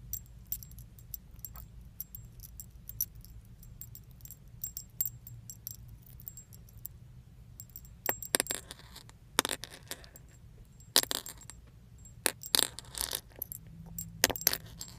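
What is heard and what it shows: Small metal leaf-shaped charms with a pink iridescent finish hang on a thin metal chain, held and dangled by the fingertips in front of a car steering wheel and shaken. They give bright, short tinkling jingles as they knock against each other, scattered sparsely at first and then in denser bursts later on. A steady low hum sits underneath.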